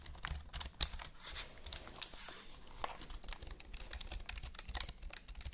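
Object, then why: Plastic computer keyboard. Long nails tap and click the keys of a full-size black plastic HP computer keyboard held close in front of the mic. The result is a quick, uneven run of short, dry, bright clicks that die away almost instantly, with a few louder taps standing out over a faint low hum.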